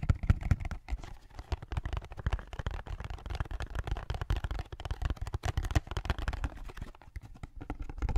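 Fingertips tap and scratch the sides of a small blue and white cardboard drink carton held upright beside the microphone. The sound is a rapid run of dull, short, low thuds with soft scratching, mostly bass-heavy, with almost no ring. The carton sounds hollow, though whether it is full or empty is unclear.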